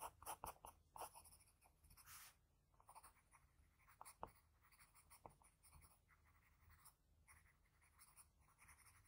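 A graphite pencil makes short scratching strokes on a flat sheet of white drawing paper, shading under the nose of a sketch. Quiet, dry, papery scratches come in quick bursts with a soft hiss, with a few sharper ticks standing out along the way.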